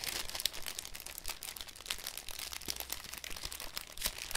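A thin, clear cellophane sheet is held and crinkled between fingertips, then folded into a cone. It makes a dense, continuous run of bright crackles and crisp snaps with little low end, and each crackle stops at once with no ring.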